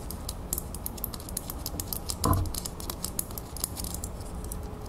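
Long nails tap rapidly around the round clasp on the back of a small, solid metal crown ornament held in the fingers. Quick, light clicks with bright metallic ticks patter continuously over a low hum. A single louder, fuller knock stands out near the middle.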